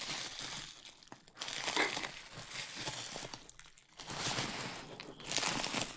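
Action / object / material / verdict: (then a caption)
scrape / plastic bubble wrap sheet / plastic / none. Hands crinkle and squeeze a large clear plastic bubble wrap sheet, held up and then draped over a dummy-head microphone. Bright, hissing crinkles come in uneven swelling bursts, with short quieter gaps between them, and most of the energy sits in the high range.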